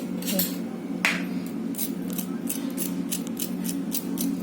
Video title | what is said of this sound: कुरकुरीत कांदा भजी | भजी एकदम कुरकुरीत बघा कुरकुरीत आवाज येतो